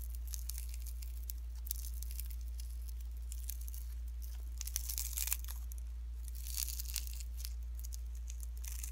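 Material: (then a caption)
Slime, cellophane. Pink slime mixed with fine shredded cellophane is pressed flat and folded between fingertips, giving a dense, bright crinkling and crackling throughout. A steady low hum sits underneath, with louder bursts of crinkle around the middle and toward the end.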